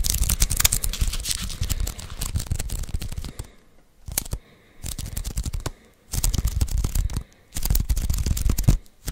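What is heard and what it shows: Fingertips tap and peel on the sticky surface of a handheld lint roller's white adhesive paper roll. Dense bursts of crackly tapping and peeling sounds with a bright, tearing edge and low thumps come in stretches separated by brief quiet pauses.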